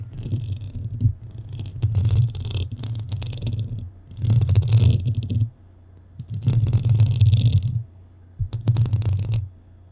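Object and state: Metal microphone grille scratched.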